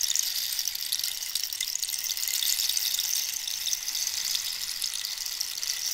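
A hollow, dried cactus-wood rainstick is held upright and diagonally while long nails scratch and tap along its textured surface. The result is a steady, bright, hissy rustle with fine crackly ticks, almost entirely in the high range with no low end. It sounds much like running or falling water.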